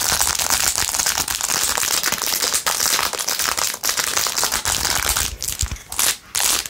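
Long nails scratch quickly over the back and edges of a blue-jeweled, rhinestone-covered plastic phone case. The result is a dense, continuous, bright crackling scratch with little low end, briefly dropping out a few times near the end.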